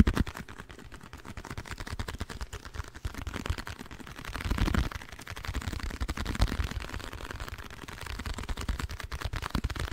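A small, hollow, printed blue cardboard box held in the hands beside the microphone is tapped rapidly with long nails. The result is a dense, continuous stream of short, dry, low, hollow thuds with little brightness, each dying away almost instantly. The tapping swells louder around the middle of the clip and again toward the end.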